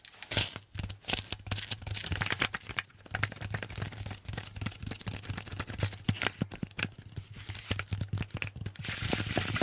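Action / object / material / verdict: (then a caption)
tap / sticky paper lint roller / adhesive paper / none. Fingertips tap on and grab at the white adhesive paper roll of a handheld lint roller with a grey plastic handle, held sideways close to the microphone. Rapid sticky crackling and peeling snaps come in dense bursts with bright highs, over a steady low hum.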